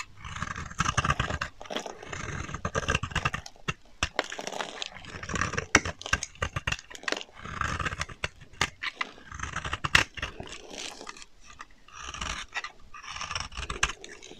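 A solid pink bar of dry soap, now flattened, is scraped across its face with a box-cutter blade, and fine shavings fall. The scraping comes as a steady series of dry, gritty rasps and crisp clicks, with a bright, airy texture and some low rumble between strokes.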